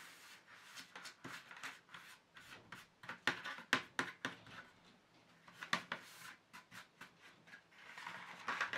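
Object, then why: Empty plastic paint tray. Fingertips rub and lightly scratch the base and rim of an empty black plastic paint tube tray. The result is a quick, irregular series of short, dry, papery scrapes and brushing strokes. It is bright and quiet, with almost no low end and no lingering ring.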